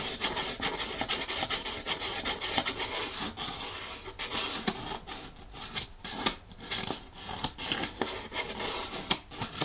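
A thin folded paper instruction leaflet held in one hand is scratched and rubbed with a thumbnail, producing a dry, bright rasping texture. The sound comes as a continuous run of quick scratches with little low end and very short decay.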